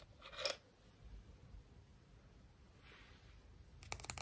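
A small, smooth, hollow white seashell, held in both hands, is tapped and scratched with long manicured fingernails. A bright scratch comes early, then a faint, soft scraping, and finally a quick series of sharp, crisp taps, all at a quiet level.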